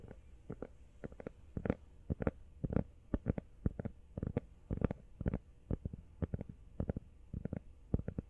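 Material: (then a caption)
Rubber. Fast tapping on a rubber iPhone case produces rapid, irregular bursts of dull, low thuds with almost no ring. The taps come in quick clusters across the whole clip, muffled and soft, with no bright tone.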